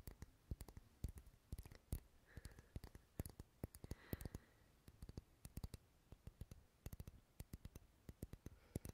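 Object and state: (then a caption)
Wax pillar candle tapped. Fingernails tap and scratch along the side of a solid purple wax pillar candle held sideways, making a quick, irregular run of dull, short clicks. The clicks are mostly low and soft, with faint brighter scratchy passages between them.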